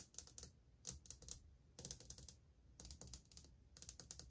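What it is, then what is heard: Ceramic wall tile tapped with nails. Long painted nails on a partly visible hand drum rapidly on old glazed white ceramic subway tiles set in a solid wall. The result is five quick bursts of bright, sharp clicks with a faint low thud beneath. Each tap dies away almost at once.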